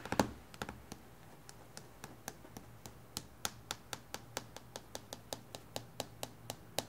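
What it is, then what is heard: Fingernails tapping on a glass tabletop. Long painted fingernails from both hands tap quickly on a flat, reflective glass tabletop in a typing-like rhythm. Each tap is a short, sharp, bright click that dies away almost instantly. A denser flurry comes at the start, then the taps settle into a steady, evenly spaced patter.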